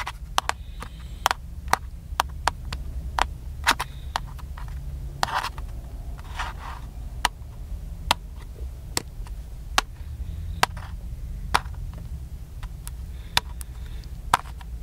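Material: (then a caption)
Plastic. Fingertips tap the top and side of a small, black, hollow plastic handheld camcorder held in one hand, making a steady series of short, sharp, bright clicks that die away almost instantly. A few softer rubbing sounds pass between the taps, over a constant low rumble.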